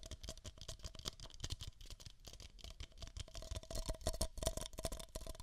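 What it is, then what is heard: Empty paper cup. Long nails scratch and tap two identical empty beige paper cups, hollow, close to the microphone's ears. The result is a dense, irregular run of dry clicks and scratchy rustles, with a low thump under each tap, a faint hollow ring around 650 Hz, and bright papery scraping on top.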